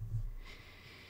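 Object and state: Nothing is struck.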